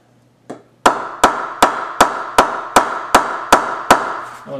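A full-size solid willow cricket bat is held upright by its handle and struck on the face with a wooden bat mallet in a ping test. After a faint first tap, nine sharp, evenly spaced knocks follow, each giving a bright woody ping centred near 1 kHz that rings out briefly.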